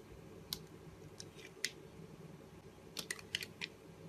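A box-cutter blade slices thin curls off the edge of a solid blue Arko bar soap held in the hand. Short, crisp, bright scraping clicks come in a loose, irregular rhythm, a few early on and a quicker cluster near the end, over a faint low hum.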